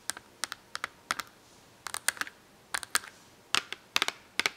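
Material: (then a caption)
Cardboard. Long acrylic nails tap and scratch on an open cardboard marker box full of markers. Sharp, bright clicks come in uneven clusters with short quiet gaps between them, and each click stops almost at once.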